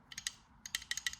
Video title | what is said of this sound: Comparing the Differences between Beckett Slab vs. a PSA Slab #pokemoncards #psagrading #beckett | even though everything sits rather flush in a PSA slab if you were to shake it you can hear that the card actually does move around a little bit